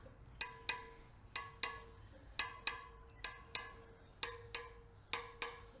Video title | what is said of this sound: Kawasaki KLR 650 First Start- Mice Nest in Air Box Front Brake Caliper Flush - Techn' Moto | lightly tap each spoke and if their is a loose spoke it will give you like a dull sound